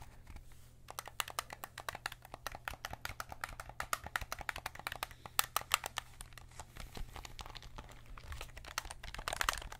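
Fingertips press the triggers and buttons and tap the hollow plastic housing of a white PS5 DualSense controller, making a rapid, uneven stream of short, dry plastic clicks and taps with bright edges. A steady low hum runs underneath, and the taps grow slightly louder and denser near the end.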